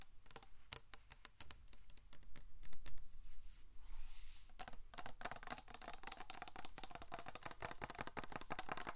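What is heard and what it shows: Long acrylic nails tap along the body of a large, hollow, black matte 720°DGREE insulated drink bottle. Sharp, bright clicks come in quick irregular bursts with almost no ring, broken by a brief softer scratchy stretch. They then build into a dense, steady patter of rapid taps.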